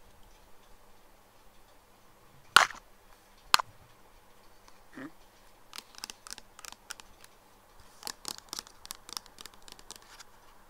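Fingertips and nails tap and scratch along a clear plastic nail polish remover bottle with a black cap, mostly full of pink liquid and lying on its side on a wooden table. Two sharp, bright clicks come first, followed by a soft scrape and then a run of lighter, quick, irregular nail taps. Each tap is dry and short with almost no ring, over a quiet background.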